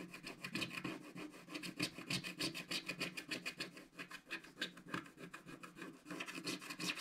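A wooden stick scratches and rubs the coating of a flat, solid black-coated scratch-art card page in short strokes. A steady run of quick, dry, bright rasping scrapes repeats at a fairly even pace, each stroke cutting off almost at once with little low end.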